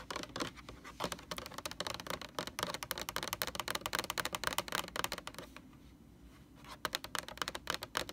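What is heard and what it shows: Long orange nails tap rapidly on the label of a large white plastic Lysol laundry sanitizer jug. The taps are short, bright and clicky, with a brief pause of about a second before they resume.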